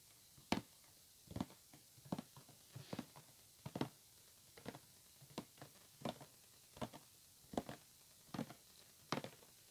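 Fingertips and nails tap and scratch a hollow white printed cardboard retail box for headphones resting on a table. Twelve short, dry, hollow knocks land with quick scratchy rustles between them, each dying away almost at once. The taps are quiet and papery with a low hollow thump under a bright scratchy edge.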